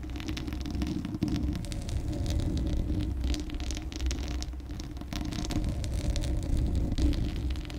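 Long acrylic nails scratch the bare, hollow steel mesh grille of a large condenser microphone while the hands largely cover it. The result is a steady, muffled scratching and rubbing with a deep, booming low rumble, little brightness, and small swells in loudness throughout.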